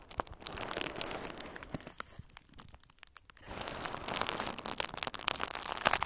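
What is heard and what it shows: A hand-sized bundle of pink-red plastic bubble wrap with hollow air-filled bubbles is pressed and twisted between the fingers and thumbs of both hands. Bright crinkling and sharp popping crackles fill the clip, easing to a quieter stretch in the middle before growing denser and louder again.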